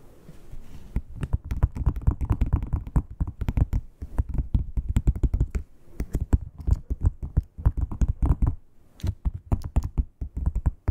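Long pointed nails tap and scratch the raised scales of a dark red matte croc-embossed leather wallet. Quick, dry, low-pitched taps and rustling scratches come in dense bursts, with brief pauses around 4, 6 and 9 seconds. Each tap stops almost instantly with no ring.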